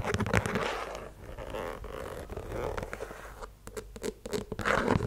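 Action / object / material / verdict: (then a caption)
scrape / leather sneaker with rubber sole / rubber / none. Long nails scratch the tread and the side of the rubber sole of a white leather sneaker. The result is a steady, dry scraping texture broken by quick, irregular taps and clicks, louder at the start and end of the clip.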